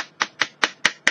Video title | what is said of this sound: Aquaflow 2 Waterfall shower head | as you can hear me tapping this is all plastic most of this device is plastic